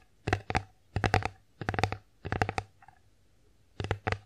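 Long acrylic nails tap and scratch an empty, flat, bear-face wooden (likely bamboo) children's plate with ear compartments, held upright. Quick clusters of crisp clicks with bright tops sound over a hollow, low body, separated by short pauses. Each click dies away almost instantly.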